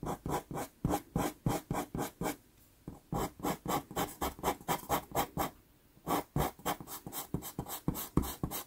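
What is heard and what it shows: A wood-cased pastel pencil held in the fingers is stroked across a small 4.5-inch sheet of sienna Pastelmat paper taped to a board while drawing a cat eye. About 35 short, dry scratching strokes come in quick rhythmic bursts, with two brief pauses near 2.5 and 5.5 seconds. The rasp sounds gritty and bright, with no ring after each stroke.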